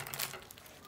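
A freshly baked chicken börek made of yufka pastry brushed with water and oil and baked at 190 °C is broken or pressed just out of the oven. Its crisp, well-browned crust gives a short burst of bright, dry crackling, loudest early and then fading into softer crinkles.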